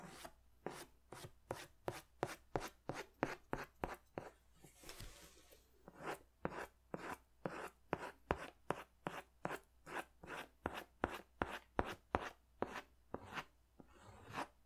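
A pink crayon is scratched over the upper part of a drawing on a large white paper sketch pad held upright, giving a run of about 29 quick, dry rasping strokes. The strokes are short and bright with almost no ring, and a softer continuous rub fills a brief pause midway through.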